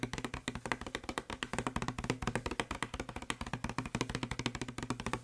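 Fingertips and short nails tap fast on the labeled side of a hollow blue plastic spray bottle, making about 39 quick, dry taps in a steady rapid run. Each tap is short and hollow-sounding, with a low body thump under a brighter click and almost no ring.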